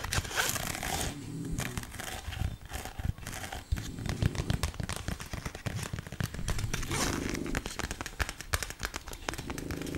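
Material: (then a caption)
Plastic. A flat, colourful, flexible plastic snake dog toy is held in both hands and scratched along its surface with long nails. The result is a dense, continuous run of crinkly, crackling scrapes with rapid little clicks, full-bodied in the low end with a bright, hissy edge.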